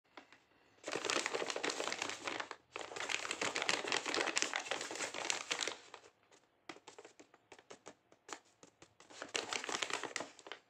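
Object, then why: Sealed paper blind bag. Fingertips rub and crinkle the surface of a medium, flat, sealed white paper blind bag printed with "CAKES," held in both hands, hollow with a small item inside, and the bag is turned over to show the back. Two long bursts of dense, bright crinkling give way to a run of short, sharp crackles, then one more crinkling burst.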